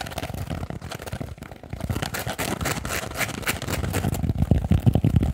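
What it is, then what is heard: Kitchen sponge with scouring pad. Fingernails tap and scratch quickly on a small rectangular foam kitchen sponge with a blue scouring layer. The result is a dense, irregular run of soft, low, muffled thuds with faint rough scraping between them. The tapping grows a little louder and heavier toward the end.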